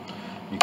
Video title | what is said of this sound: Chickering 33B 1867 Conservative Restoration Part 4 | this pin block this all has separations down inside